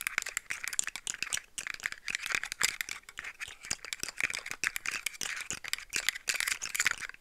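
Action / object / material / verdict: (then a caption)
tap / segmented plastic toy / plastic / none. Long nails tap and rattle the hollow segments of a hand-sized, rainbow-colored articulated plastic slug fidget toy. The result is a fast, steady stream of dry, bright clicks and light clattering with almost no low end. Each tick stops instantly with no ring.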